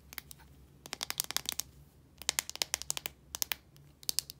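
Long nails scratch and tap the casing of a small plastic deodorant stick, which has a blue body and a translucent cap and is filled with solid deodorant. Sharp, bright clicks come in three quick bursts separated by short pauses, each one dry with almost no ring, over a faint low hum.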